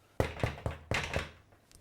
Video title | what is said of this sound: How to make bread with Clive | Tap the base. If it sounds hollow, it's cooked.